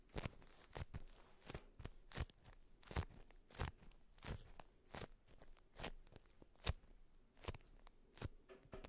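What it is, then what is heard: Beeswax-coated fabric wrap. A polka-dot beeswax-coated fabric wrap rolled around a cylindrical bundle is tapped with long white nail tips and scratched. About sixteen short, dry crinkly taps stand apart, each a quick broadband crackle with a low thump, separated by soft scratching rustle.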